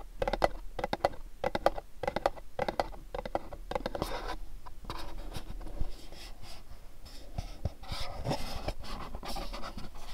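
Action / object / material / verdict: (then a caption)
tap / cardboard box / cardboard / none. A pink cube-shaped cardboard gift box is tapped with fingernails on its sides and bottom. Quick, dry, hollow clicks come in rhythmic bursts at first, then blend into denser scratchy tapping and scraping with a papery mid-range tone. The sound is close and quiet throughout.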